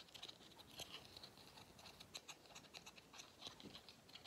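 Fingernails scratch along the paper pleats and the grey end cap of a hollow pleated paper vacuum cleaner filter. The result is a quiet, rapid series of short, dry, bright scratching ticks with almost no low end. Each scrape stops dead without ringing.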